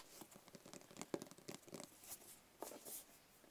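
A small, hollow black rigid cardboard gift box with a lid is held in the hands and tapped and scratched along its edges with fingernails. Quick, dry clicking taps with short bright scratches sit over a faint hollow tone, each dying away almost at once.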